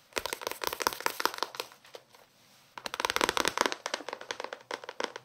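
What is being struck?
Paperback book, paper pages and card cover.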